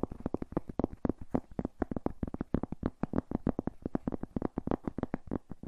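A thin, solid, round flat cork coaster is scratched and tapped with fingertips and nails beside and in front of a furry microphone. The result is a fast, steady stream of short, dry, muffled knocks with a low-mid thump and almost no ring or bright edge.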